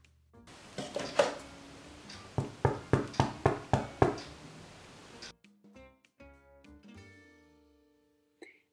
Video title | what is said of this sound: No Sabía Hacer PAN...Hasta Que Probé Esta Receta...¡FACILÍSIMO! | Si suena hueco, significa que ya está listo y si no, deja que se hornee un poco más.